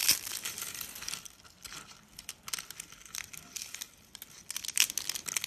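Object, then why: Dry soap curls and flakes. White, dry, brittle soap curls and flakes are pressed with the palm and crushed in the hand. The result is a burst of bright, dry crackling and crunching, loudest at the start and again near the end. The sound has almost no low end and each snap dies away at once.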